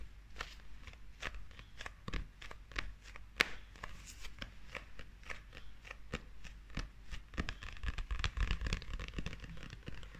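Long acrylic nails tap and scratch the glossy illustrated paper cover of a closed, solid, hand-sized paperback manga held up in the air. A quick, irregular run of sharp, dry clicks is heard, with bright scratchy rasps between them. Each tap is very short, with no ring after it.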